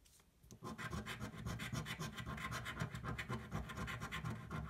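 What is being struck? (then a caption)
Cardboard scratch-off ticket. A thin, flat cardboard scratch-off lottery ticket lying on a table is scratched with the edge of a coin. After a brief quiet start, a steady run of rapid, gritty scraping strokes follows, full of low rasp with bright, crackly edges. The coin is lifted briefly partway through before the scratching carries on.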